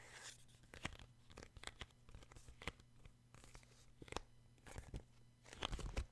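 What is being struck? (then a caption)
Paperback book with a card cover. A paperback book with a glossy card cover is held upright while fingertips tap on its front cover. The sound is a quiet, irregular run of short, crisp taps with bright, papery clicks and a faint tearing-like crackle, over a steady low hum.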